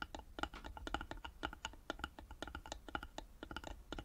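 Long nails tap rapidly on the sides of a small, hollow carved wooden box held in both hands, producing a quick, uneven run of about two dozen dry, clicky taps. Each tap has a short hollow ring and dies away almost at once over a faint low hum.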